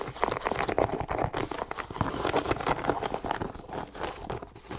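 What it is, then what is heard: Leather sneaker scratched and tapped. A hollow, empty white leather low-top sneaker with laces is scratched and tapped with long nails on its leather upper. The result is a dense run of quick, crinkly scratches and light taps, centered in the mid range with little bass, continuing steadily throughout.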